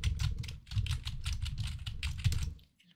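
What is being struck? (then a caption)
Plastic mechanical keyboard. Both hands' fingertips type quickly on a mechanical keyboard with pastel plastic keycaps, making a steady run of key presses and clacks. Each stroke has a deep, low thud with a bright click on top. The typing stops just before the end, followed by a couple of faint, light taps.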